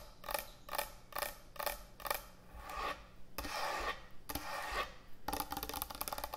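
Long nails scratch and tap on a large, thick, solid wooden end-grain butcher block cutting board. Five short, evenly spaced raspy strokes give way to slower, longer scrapes. The clip ends in a quick flurry of bright, dry taps.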